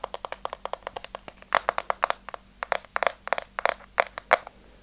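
Long teal nails tap and scratch the top of a hollow, rectangular pink plastic case with a white rim, held flat in one hand. About 29 quick, dry, bright clicks sound in an uneven rhythm with no ring, some sharper and louder, mixed with light scratchy scrapes.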